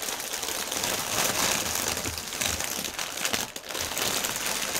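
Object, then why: Plastic air-cushion packaging film. A thin, clear, partly deflated plastic air-pillow packaging strip is rubbed and pressed with both hands' fingertips and nails. It gives a steady, dense crinkling and crackling that is bright and high, with little low end. The loudness stays fairly even with a brief dip just past the midpoint.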